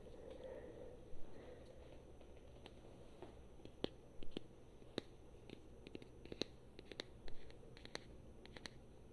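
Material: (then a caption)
Plastic. A small solid plastic Super Mario amiibo figure on a round base, held in the hand, is tapped and scratched with long painted fingernails. Quiet, sharp, bright clicks land at uneven intervals over a soft scratching texture and a low, steady background rumble. Each tap dies away almost instantly.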